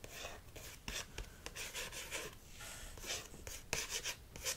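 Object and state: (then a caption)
Paperback book cover, scratched and tapped. Fingertips and short nails scratch and tap the glossy card front cover of a solid paperback copy of "Jules and Jim" held flat. Bright, dry scratching runs throughout, broken by short, crisp taps that die away almost at once.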